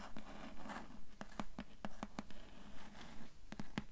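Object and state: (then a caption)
Cloth-bound hardcover book tapped with nails. Long nails scratch and tap on the grey cloth-covered board cover of a cloth-bound hardcover book. Quiet, dry, low taps land at a loosely steady pace over a soft, continuous scratching texture, and each tap dies away almost instantly.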